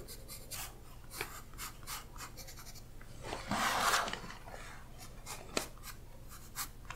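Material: Paper.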